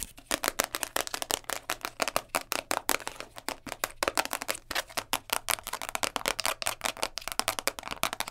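Long nails tap and scratch the top and textured underside of a round purple plastic container lid held in both hands. A fast, steady stream of dry, bright clicks and scrapes is heard, each very short with almost no ring and hardly any low end.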